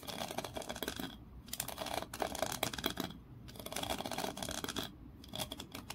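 Long nails scratch along the ridged grooves and tap the edges of a small solid wooden block held in both hands. The result is dense, dry, bright scratching and rapid clicking in three bursts, separated by brief quieter pauses.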